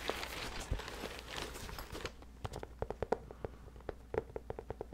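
A medium, soft, hollow black nylon bag is held up beside the microphone in one hand and worked with the fingertips of the other. For about two seconds a dense, bright scratching rustle is heard, then it gives way to a series of short, dry taps with a soft, muffled tone against a low steady hum.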